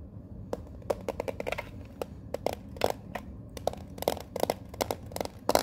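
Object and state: Metal card tin.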